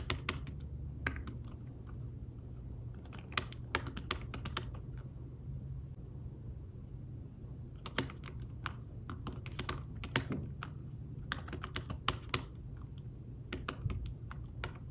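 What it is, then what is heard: Fabric-covered tablet keyboard. Fingertips tap the keys of a thin fabric-covered tablet keyboard case in steady typing, producing soft, short, muted clicks with quick bright tips. The taps come in bursts with a brief lull around the middle, over a constant low hum.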